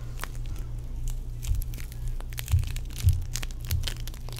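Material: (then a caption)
Foam beads. A small lump of soft, sticky green play foam made of tiny foam beads is held in the hands while fingertips squeeze, knead and pull it apart. Dense, irregular bright crinkling and crackling squishes come through over a steady low hum, with a few louder squeezes standing out.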